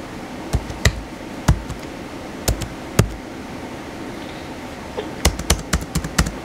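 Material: Plastic.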